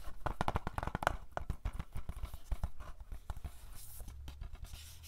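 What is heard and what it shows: A hollow plastic DVD case of *Napoleon Dynamite*, held in both hands, has its front cover tapped and scratched with fingernails. Rapid, dry, clicky taps with a dull hollow knock mix with soft scratching. Each hit dies away almost instantly, and the sound grows quieter and more scratchy toward the end.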